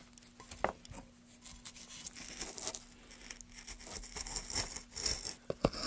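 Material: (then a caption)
Pine wood. Gloved hands make rapid cuts into a solid pine block with a metal gouge. The result is a series of dry, bright scraping and crackling cuts, with a few sharper, louder strokes near the start and end over a faint steady low hum.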